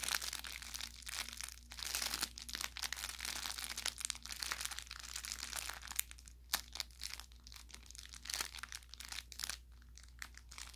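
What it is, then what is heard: Plush toy with crinkle filling. An orange velour plush carrot cat toy with crinkle filling is squeezed and pressed with the thumb and fingertips. It gives off a dense run of bright crinkling and crackling with sharp little pops over a low steady hum.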